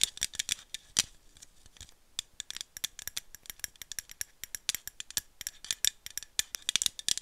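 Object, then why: Aluminum drink bottle. Long nails tap and scratch along the body of a hollow aluminum screw-cap coffee drink bottle, making about 41 quick, dry clicks in an irregular flurry. The sound is bright and thin, with almost no low end and no ring after each tap, centered high around 3.5 kHz with faint scratchy rasps between hits.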